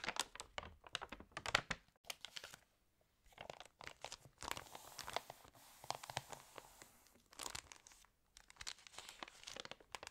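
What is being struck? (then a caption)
Glossy paper catalog pages. Long nails tap and scratch the pages of a glossy paper fashion catalog, and the pages are turned with crisp crinkling and tearing-like rustles. The sound is quiet and bright with many short sharp clicks and papery swishes, broken by brief silences near 2.7 and 8 seconds.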